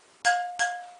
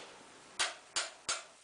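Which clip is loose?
The second.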